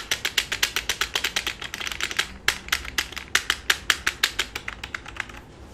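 A black full-size plastic computer keyboard rests flat on a lap while fingertips of both hands type and tap its keys. The result is a steady run of short, bright, clicky keystrokes with almost no low end, each dying away almost instantly, with a brief cluster of softer, quicker taps in the middle.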